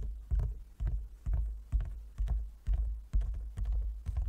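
Fingertips and nails of both hands tap on a large, closed, hollow wooden folding chess board. A steady series of deep, hollow knocks follows at a brisk, slightly uneven pace, each one short and dying away quickly.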